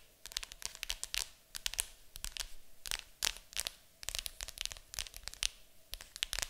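Long acrylic nails scratch and tap the lid of a large, hollow, printed cardboard board game box. They make a dense stream of quick, bright, dry clicks and scratchy rasps with no ringing, in irregular bursts over a faint steady low hum.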